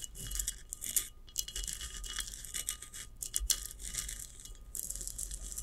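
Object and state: Ceramic vase.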